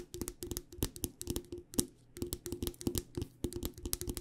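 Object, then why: Metal tea tin tapped with fingernails. Long dark nails tap rapidly on the side of a hollow, cylindrical metal tea tin with a printed label and a metal lid, held in both hands. The taps come in quick, uneven bursts of sharp, bright clicks over a faint hollow tone that dies away almost at once.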